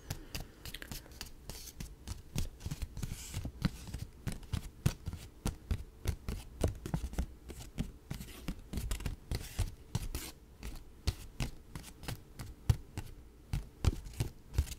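A folded paper dollar bill is held between both hands while fingertips and nails rub, flick and snap the thin paper. The result is a steady run of dozens of quick, dry clicks and crisp snaps with soft crinkling between them, each hit ending almost at once and carrying a low thump under its brief bright edge.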